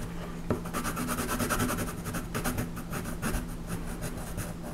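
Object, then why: Colored pencil on paper. A colored pencil shades the horse's legs and the ground on a flat paper coloring page held down by hand. Quick, steady rubbing strokes make a dry, papery scratching that pulses rhythmically over a low, constant hum.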